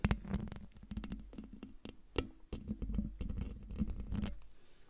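Fingertips with dark nails scratch and tap across the hollow, domed metal mesh grille of a silver microphone. A close, continuous run of dry scratching and quick clicks is heard, heavy with low, boomy rumble and brief bright crackles. The touches die away almost instantly, with no ring.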